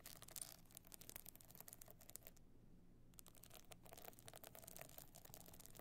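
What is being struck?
Hard box clutch covered in small stone chips.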